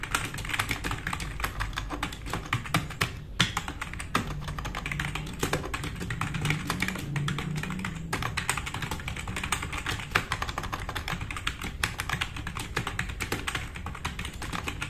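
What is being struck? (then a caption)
Plastic mechanical keyboard. Fingertips of both hands type fast on a black RGB-backlit tenkeyless plastic mechanical keyboard with plastic keycaps, resting on a wooden desk. A dense, continuous stream of short, sharp clacks runs throughout, with a low thocky body under bright clicky edges and very little ring after each stroke.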